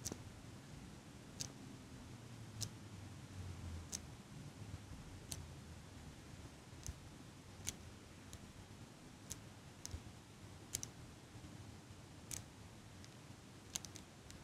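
A small metal eyelash curler with a black rubber pad, held in one hand with long pink nails over a black microphone, is squeezed open and shut. About eighteen short, bright metallic clicks are spaced irregularly over a low, steady background rumble, each dying away almost instantly.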